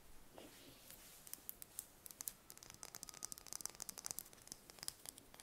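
A single thin-shelled brown chicken egg is held in the hands while long red nails tap and scratch it. Sharp, bright clicks start sparse and grow into quick, irregular bursts over a faint low hiss.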